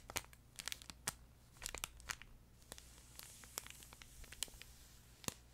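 A flat yellow plush duck pet toy, with fabric over a crinkle insert, is held horizontally while fingertips and nails stroke and scratch its top surface. The sound is a quiet series of sharp, bright crinkles and scratchy snaps, spaced irregularly over a soft hiss and a low hum.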